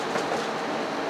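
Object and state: Nothing is struck.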